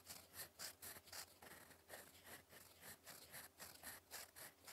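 A gold metal fountain pen nib, held in fingers, scratches across a flat sheet of cream lined paper on a desk while writing cursive. Quiet, bright, raspy strokes rise and fall in quick, uneven bursts. Each fades almost at once, with little low end beneath them.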